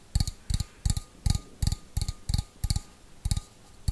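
Fingernails tap the outside wall of a small, hollow, empty stainless steel bowl held on its side, making ten short taps in a slow, loosely even rhythm. Each tap gives a deep, hollow thump with a faint bright metallic shimmer on top that dies away almost at once.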